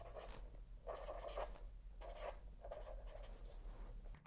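A fine felt-tip pen held in the fingers writes on the paper page of a spiral-bound notebook with a cardboard back, resting on a lap. Soft, scratchy bursts of pen strokes rise and fall, with a papery midrange rasp and a bright hiss over a steady low hum. The writing stays quiet and close, with brief pauses between strokes.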